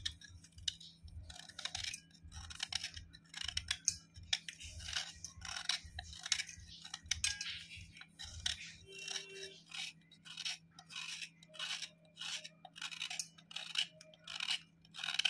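A hollowed white slate block of chalky clay is held in the hand and scraped with a knife blade, sending powder and flakes onto a steel plate below. Repeated short, bright, dry scraping strokes rasp in a steady rhythm over a faint low hum, with soft low thumps under the strokes during the first part.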